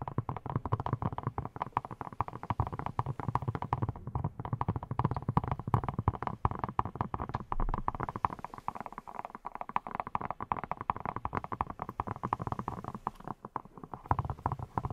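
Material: Silicone.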